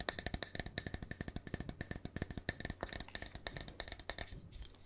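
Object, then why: Paper cup with plastic lid. A hollow, printed paper to-go cup with a red plastic lid is held in one hand and tapped rapidly with the fingers, making about forty sharp, dry taps that sound like a wood block. Each tap rings around 1.8 kHz with bright clicks and dies away almost at once, over a faint, steady low hum.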